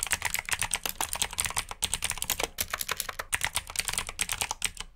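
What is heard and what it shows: Fingertips type on the keycaps of a black plastic mechanical keyboard with blue switches, producing a fast, steady stream of sharp, bright clicks. About 28 distinct keystrokes are heard over five seconds, each decaying almost instantly, with a faint low hum underneath.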